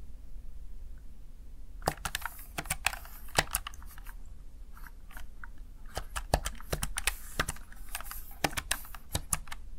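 Fingertips tap the keys of a Razer Tartarus Chroma plastic backlit gaming keypad, producing a steady run of short, dry plastic clicks that begin after a quiet start. Each keystroke is a brief bright tick with almost no ring, set over a low, quiet background rumble.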